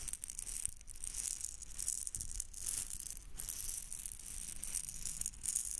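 A small red hollow plastic egg shaker filled with beads is held in the fingertips and shaken near the microphone. It gives a quiet, bright, hissing rattle of beads with short bursts that swell and fade in a loose rhythm and no ringing tail.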